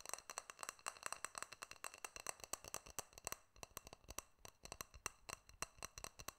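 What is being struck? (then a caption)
Glass jar with metal screw lid. Fingernails tap and click on a small, clear, hollow glass jar with a silver metal screw lid, held close in front of the microphone. A quick, uneven run of dozens of sharp, bright clicks and chinks is heard, each dying away almost at once, with a tonal ring near 2.7 kHz and very little low end.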